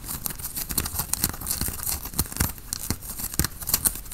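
Fingertips and nails scratch the fabric near the collar and sleeve of a worn grey tie-dye cotton t-shirt. The result is a steady run of short, dry, scratchy rasps with bright hiss and soft low thumps. Each stroke stops almost at once, with no ring.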